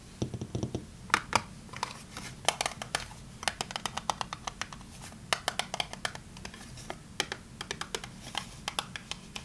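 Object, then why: Small closed cardboard soap box. A small printed cardboard box of Fa bar soap, closed and seemingly holding a bar, is held in both hands and tapped and scratched with long painted nails. Quick, dry, bright clicks and taps come in uneven bursts over a soft scratchy rustle and a low hum, each tick dying away almost instantly.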